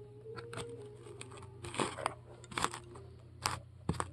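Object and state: Styrofoam ball being carved.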